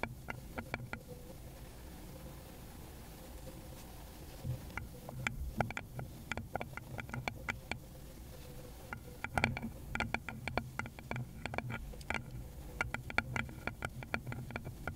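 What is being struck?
Small round wooden bowl.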